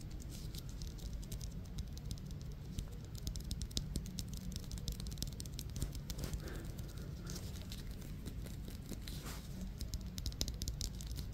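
A solid, hand-sized yellow Wilson softball of synthetic leather with black stitching is held in both hands and tapped and scratched with long fingernails. A dense, steady patter of quick, light taps and bright scratchy rasps plays over a constant low rumble, with brief crinkly swells near the middle.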